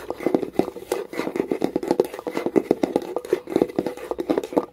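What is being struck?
Small wooden box tapped with fingernails.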